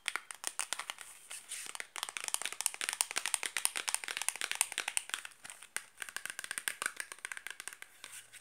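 Long black nails tap and scratch quickly on the faces and edges of a small, closed, rectangular cardboard box of Granado Enxofre soap, which is hollow with a bar inside. The result is a dense stream of dry, bright clicks and scrapes with almost no low end. Each hit dies away almost instantly.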